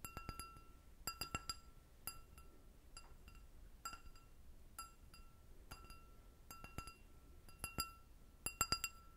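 An empty, clear, hollow glass goblet with a short stem is tapped with long red nails. Quick clusters of light, bright clinks are heard, each with a short glassy ring around 1.3 kHz and high shimmering overtones over a faint low background hiss.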